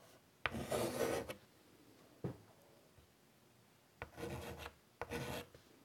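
A white chalk stick held in the fingertips scratches strokes across the dark surface of a large, flat, wood-framed chalkboard. The result is raspy, gritty scrapes, mostly midrange with a bright edge. One long stroke is followed by a short tap and then two more strokes, separated by quiet pauses.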